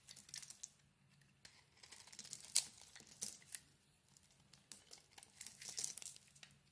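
A utility knife blade scrapes thin shavings from the surface of a solid, hand-sized lilac and white bar of soap. The result is a run of quiet, dry, crackling scrapes in bright, short bursts, with one sharper, louder scrape partway through.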